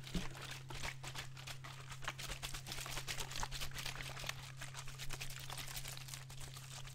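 A clear PET plastic water bottle with a teal cap and green label, partly dented, is squeezed and crinkled with the fingers while water sloshes inside. Dense, bright crackling and crinkling snaps run continuously over a steady low hum.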